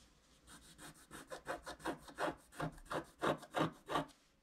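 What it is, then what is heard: Scratch-art card scraped with a stylus. A wooden stylus scrapes a flat scratch-art card of wax-coated paper in repeated back-and-forth strokes to fill in a tree trunk area. Thirteen short, dry, raspy scratches follow one another at a steady rhythm, each with a bright grainy edge and a soft low body, growing louder toward the end.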